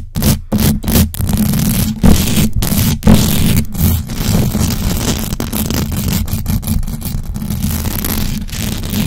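Long acrylic nails on both hands scratch fast across the hollow metal mesh grille of a large black USB microphone. The result is a dense, continuous scraping rasp with a heavy low rumble and a hum near 200 Hz, broken by brief near-silent gaps as the nails lift and land again.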